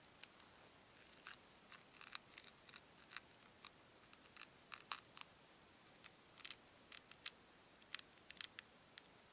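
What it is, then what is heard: Foam cubes rubbed together. Two small solid white foam cubes are rubbed against each other by fingertips with long nails. Quiet, bright, crisp scratchy squeaks come in many short, irregular bursts over a faint steady hiss, each cutting off almost instantly.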